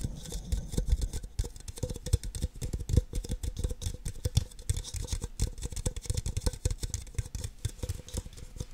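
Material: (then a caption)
Plastic. Long nails tap and scratch the sides and bases of two identical empty red plastic party cups. The result is a rapid, uneven patter of short, dry taps with a hollow, low thud under each one. A faint bright scratchy rasp runs between the taps.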